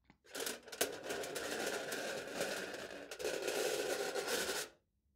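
A knife tip repeatedly scratches and presses marks into aluminium foil stretched over a hollow plastic cup held in the hand. The result is a continuous crinkly, scraping rasp with a bright hiss and a hollow mid-range tone. It runs for about four seconds with a brief dip near the three-second mark, then stops abruptly.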